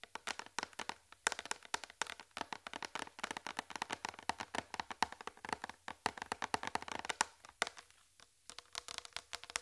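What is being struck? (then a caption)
Flat plastic tray. Long red fingernails tap rapidly across a large, flat white plastic tray with a raised rim and a hollow underside. The result is a dense run of sharp, clicky taps with a hollow midrange tone and bright edges, each dying away almost instantly. There is a brief pause near the end before the tapping resumes.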